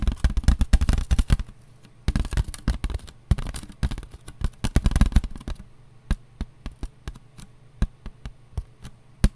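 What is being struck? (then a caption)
Paper plate. Nails and fingertips tap along the rim and underside of a thin, empty, white disposable paper plate held in both hands. Quick, dry, low-heavy taps come in dense bursts for about five seconds, with a brief pause near the two-second mark. The taps then thin out into single, evenly spaced clicks that stop almost instantly.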